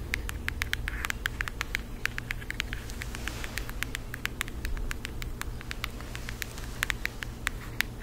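A flat, rectangular cardboard eyeshadow palette with a printed floral cover, held in both hands, is tapped with long acrylic nails. A quick, steady run of sharp, dry clicks rises bright over a low, constant background hum, each tap ringing around 2 kHz and dying away almost instantly.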